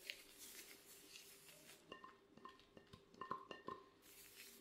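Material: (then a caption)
Ceramic. Gloved fingertips tap an empty, glossy black ceramic plate held at its edges, giving about eleven short, clinking taps that ring briefly around 1 kHz with higher overtones. Most of the taps bunch together in the second half, over a faint, bright hiss at the start and end.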